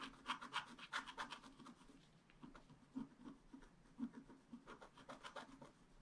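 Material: Coated paper.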